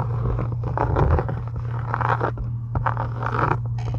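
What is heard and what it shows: Long acrylic nails scratch along the edges and embossed texture of a solid, pink embossed faux-leather journal cover. Rasping, dry scratching bursts repeat over a steady low hum, with short brighter scrapes between them.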